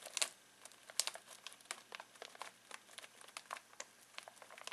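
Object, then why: Foil-plastic snack bag of pistachios. Fingertips scratch and crinkle a full foil-plastic snack bag of pistachios. The result is a quiet, rapid series of short, dry crackles, bright and hissy with almost no low end.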